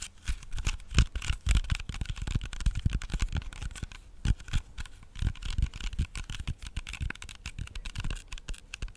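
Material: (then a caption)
Apple skin. Fingertips and nails tap and scratch the skin of a whole, solid red-yellow apple. A dense run of short, dry, low thumps is heard, with faint bright scratchy rasps between them. The taps die away almost instantly.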